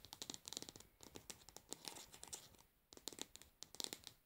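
Long nails tap and scratch the pink plastic lid of a cosmetic pad jar and its rim. Quiet, bright, crisp clicks come in quick clusters mixed with dry scratchy rasps, with short pauses between bursts.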